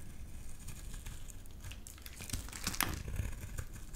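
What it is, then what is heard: Bar soap being shaved with a blade. A utility knife blade shaves long curls off the face of a solid lilac bar soap held in the hand. Steady soft, crinkly scraping and crumbling sit over a low, muffled rumble, with a brighter, sharper scrape standing out near the end.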